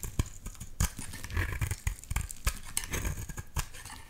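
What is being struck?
Solid bar of soap.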